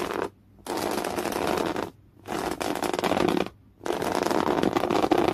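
Fingernails scratch in clawing motions across a folded piece of thick beige woven cotton canvas cloth. The result is a coarse, broadband rasping with a bright edge, heard in four sustained bursts separated by three brief near-silent pauses.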